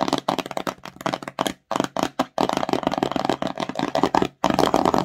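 Long nails scratch and tap the front face of a small, empty, glossy cardboard slime box, tilted to show its white bottom. Quick, dry midrange taps and scratchy rustles come in dense bursts, separated by a few brief silent gaps.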